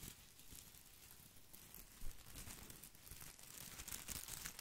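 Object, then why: Plastic artificial boxwood ball. Fingertips and nails scratch the small plastic leaves of an artificial boxwood ball held close to the mic. The result is a steady, crinkly rustling and scratching with a bright, hissy top and low rumbling handling noise, swelling into a louder crunchy burst near the middle before continuing unevenly.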